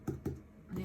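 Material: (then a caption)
Plastic. Two dull, low taps land on an upturned XL plastic cup of acrylic pouring paint flipped onto a canvas, followed by a softer, sustained low sound. The cup sounds nearly hollow, meaning the paint has mostly run down out of it.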